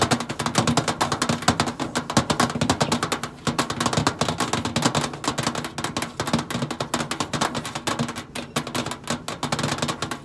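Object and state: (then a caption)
Stainless steel microwave side panel. Long acrylic nails tap quickly and scratch on the flat stainless steel side panel of a hollow microwave. The result is a dense, continuous stream of short, dry clicks with brief ringing, a faint hollow tone around 230 Hz and bright scratchy texture, with a short lull near the 3.5-second mark.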